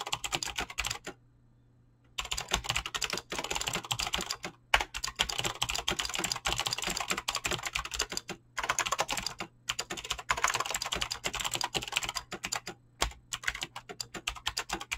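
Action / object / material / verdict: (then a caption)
tap / mechanical keyboard with PBT plastic keycaps / PBT plastic / none. Fingertips type fast on a Razer BlackWidow mechanical keyboard with clicky green switches and pink-blue dyed PBT plastic keycaps. The result is a dense, bright stream of sharp clicks and clacks with very short decay, broken by a silent pause of about a second near the start and a few brief gaps later. A faint steady low hum sits underneath.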